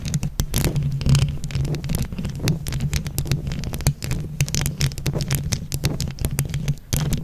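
A hand-sized microphone with a mesh grille covered in colorful plastic flower-shaped rhinestones is scratched and tapped with long acrylic nails using both hands. Dense, rapid clicky taps and scratchy rustles sit over a heavy low rumbling throb, with bright transients flicking across the top.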